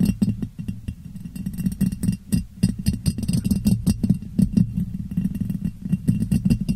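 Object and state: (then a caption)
Ribbed glass jar tapped with fingernails. A clear, ribbed glass jar, hollow and empty, sits upside down over a microphone and is tapped and scratched with long painted nails. The result is a dense stream of quick, clicky taps mixed with scratchy rasps. Each tap gives a short, deep, hollow thump around 184 Hz, with faint bright ticks on top.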